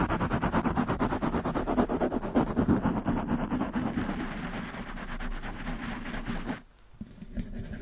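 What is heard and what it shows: Long manicured nails of both hands quickly scratch the black foam windscreen on a large black condenser microphone. The result is a dense, rhythmic rustling and scraping at about three strokes per second, loudest and boomiest in the first four seconds. It then thins into a softer, steadier hiss, drops almost to silence near 6.7 seconds, and resumes quietly.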